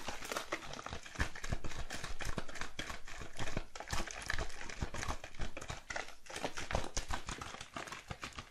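One hand taps and scratches a solid, light wooden tabletop with very long, curved acrylic nail tips. Rapid, dense clicking taps blend with dry scratching. Each hit is short, with a low thud beneath the bright nail clicks and very little ring.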